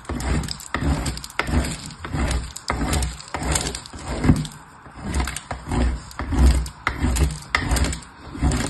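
A purple piece of soap is scraped by fingertips against the perforated face of a painted metal box grater. The result is a steady series of rough, grainy scraping strokes, about one and a half per second, with a heavy low-end rasp and short, dry crackles that stop quickly.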